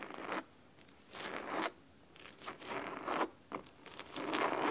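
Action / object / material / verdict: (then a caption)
scrape / cloth-bound hardcover book / cloth / none. Fingernails scratch along the fabric-covered spine and top edge of a large, thick, solid red cloth-bound hardcover book. Dry, raspy scratching comes in irregular bursts with a bright, hissy texture, separated by short quiet pauses. The strokes sound crisp and close, with almost no low end and no ringing after each one.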